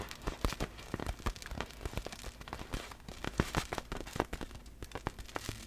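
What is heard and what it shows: Long black fingernails tap and scratch a large, hollow, clear vinyl inflatable ball filled with air and loose glitter, held up in the air. The result is a quick, irregular stream of short, crisp taps with a hollow low thump and bright scratchy crackle, each tap dying away almost instantly.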